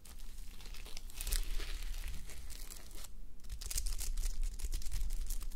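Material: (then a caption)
Plastic sequins. Fingertips and nails rub and scratch a fabric sleep mask covered in plastic reversible sequins, resting on a white mannequin head. The result is a dense, irregular stream of crisp crinkling and scratchy rustles with bright edges over a low rumble, easing briefly just after the three-second mark before building back up.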